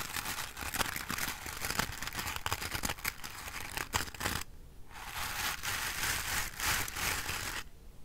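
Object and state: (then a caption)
Bristle hairbrush with wooden frame. Fingernails scratch and brush the tips of the dense black bristles on a wooden-framed hairbrush held up close. It makes a bright, crackly rustle of many tiny rapid clicks that breaks off for half a second around the middle. The brushing then resumes as a steadier hiss before stopping just before the end.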